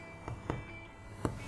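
A vegan brioche loaf, just baked at 165 °C, is tapped lightly on top four times to check it is cooked through. Each tap gives a soft, short, low thud over a faint background hum. The loaf sounds nicely hollow, like bread, showing it is baked through to the core.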